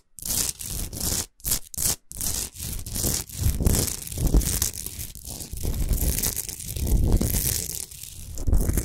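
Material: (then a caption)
Rock salt. Long nails scratch and rub over the top and sides of a rough Himalayan rock salt lamp, a solid salt chunk with the light off. Short bursts of gritty rasping give way to a continuous dense scraping, with a bright hiss over a low, thumpy body.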